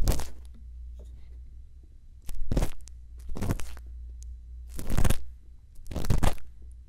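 A thin bamboo earpick scrapes inside the ear canal of a silicone ear on a binaural microphone. It makes close, crackly scratching bursts over a steady low hum. Four or five separate scrapes are heard.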